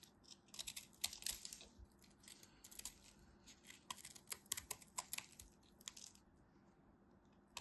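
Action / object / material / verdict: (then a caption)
scrape / solid bar of soap / soap / none. A craft knife carves the remaining piece of a solid white bar soap, and chips crumble off. Quiet, bright, crisp scraping and crackling comes in short bursts of rapid clicks with little low end, then fades toward the end.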